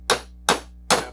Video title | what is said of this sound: How to Rebuild a Crosley Water Pump! | You can hear the sound, change of sound when the thing bottoms out.